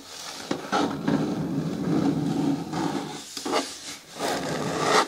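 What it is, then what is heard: Plastic bin with lid, scratched by fingernails. Long natural nails and fingertips scratch and rub the front wall of a hollow, medium-hard green plastic bin with a lid, resting on a wooden table. The result is a steady, dry rasping scrape with a warm low-mid body, punctuated by brighter, sharper strokes and short pauses.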